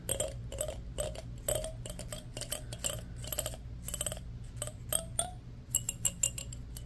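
A fingernail strums and flicks along the long teeth of a solid black plastic hair comb held in both hands. The result is quick, bright, clicking rattles with a short ring over a steady low hum. Many closely spaced strums arrive in bursts.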